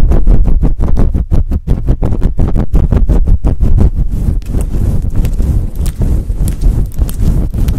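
Fingertips and long nails scratch fast and hard across the top of a fluffy faux fur windscreen on a microphone. The result is a loud, deep, muffled rumble of rapid rhythmic strokes for the first half, then a denser, continuous scratching with a faint brighter hiss.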